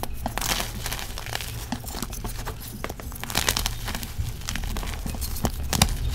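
Small pieces of a pressed gym chalk slab, made of magnesium carbonate and sand, solid and crumbly, are squeezed and crumbled between fingers and palms over a plastic tub of white powder. Dense, continuous crunching and crinkling crackles run throughout, with a low rumble underneath and bright, short snaps that die away almost instantly.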